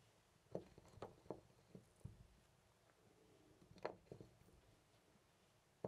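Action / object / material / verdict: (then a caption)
shake / brass door knob / brass / none. Fingers hold, twist and rattle a loose brass-colored metal knob on a white interior door. A scattered series of short, dry metallic clicks and knocks stands out from a quiet background, each dying away almost at once, with a midrange tone around 600 Hz and little bright content.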